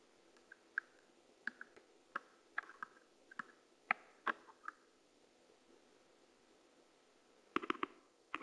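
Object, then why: Plastic game controller. A purple plastic pen-like tool, held in a hand with pink nails, taps and scratches the buttons and shell of a hollow, hand-sized white and black plastic PlayStation 5 DualSense controller lying on a dark mat, with the controller itself acting as the microphone. A series of sharp, dry, very short plastic clicks with a bright edge sounds over a soft steady hiss, with faint scraping between some taps. After a quiet stretch, the clip ends with a quick cluster of taps.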